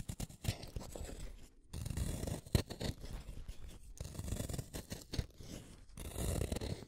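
A small, solid black-lead wooden pencil is shaved with a utility knife blade, producing close, dry scraping and shaving strokes. The sound is mostly low and rough, with brief quiet gaps between bursts and a sharper snap partway through.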